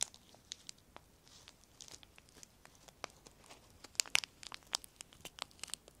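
A small piece of semi-thick clear plastic film, thin and flexible, is held in both hands above a wooden table and crinkled and torn between the fingertips. Quiet, bright crackles and sharp snaps come in an irregular series over a soft hiss, almost entirely high in pitch with no low end. Each snap cuts off instantly.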